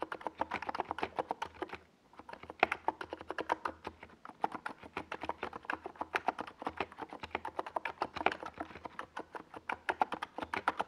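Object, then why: Plastic mechanical keyboard with tall plastic keycaps. Fast fingertip typing on a compact 68-key NiZ Plum Atom 68 mechanical keyboard with a hollow white plastic case and purple and yellow Domikey Gas Attack SA plastic keycaps, resting on a desk pad. Many short, clacky key taps with a mid-pitched hollow tone run almost continuously, with a brief pause near the two-second mark.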